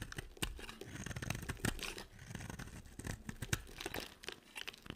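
A box cutter blade carves and scrapes a solid, hand-sized, red-edged yellow dry soap bar, breaking off crumbly flakes. Quick dry scraping and crunching strokes follow one another with sharp bright clicks over a low, rough body. The soap crumbles away in flakes with each cut.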